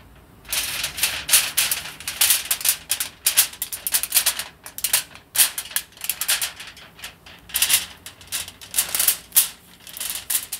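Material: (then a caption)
Aluminium foil. Fingertips and nails scratch and crinkle a loose sheet unrolled from an aluminium foil roll as it is handled. Dense, dry bursts of bright, hissy crackling come in quick irregular clusters, with almost no low end. Short pauses fall between the bursts.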